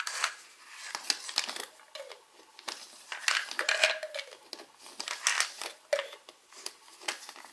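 Fingertips and short nails tap and scratch the white plastic cap of a small, hollow, opaque white plastic Alive vitamin bottle while the other hand holds the bottle. The result is a quick, irregular run of dry, bright clicks and scratchy rasps with almost no low end. A few taps leave a brief hollow tone around 600 Hz.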